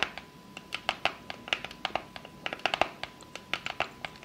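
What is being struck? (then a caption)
Small cardboard gift box. Long fake nails tap and scratch the lid of a small, hollow, closed rectangular pink cardboard gift box with a unicorn print, then the box is held up in one hand. About 26 quick, sharp, bright clicks come in an irregular run, each with a light hollow tone near 700 Hz and almost no low end. Faint scratchy texture sits between the clicks, and each hit dies away almost at once.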